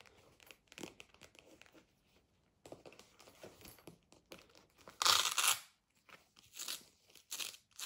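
Long nails and fingertips tap and scratch the surface of a medium, hollow black faux leather zip pencil case standing upright on a table, and a front flap is opened partway through. Quiet, irregular clicks and crinkly, bright scratches come in clusters, with a louder, harsh rasping burst about two-thirds of the way in before softer taps resume.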